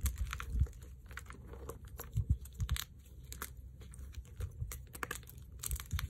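Chalk-covered fingertips and palms crush and rub brittle, dry chunks of white magnesium carbonate gym chalk and powder in a dark bowl. Irregular bursts of crunching and crumbling come through as low, muffled thuds laced with short bright crackles. The chalk pieces break apart in quick, dry snaps that die away almost at once.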